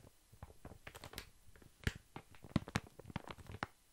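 A large, full, soft pack of baby wipes wrapped in thin plastic film is moved from side to side and tapped with long fingernails. Quiet, irregular crinkling and soft tapping are heard, with a few sharper, louder taps standing out.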